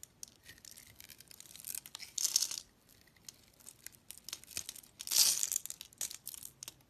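A solid, hand-sized pink bar of soap with embossed lettering is held in the hand and scored and cut with a segmented utility knife blade in scratching strokes. Dry, bright scraping and crisp little ticks come in an irregular series, with two longer, louder scrapes standing out midway and near the end. Each sound stops almost instantly, with no ring.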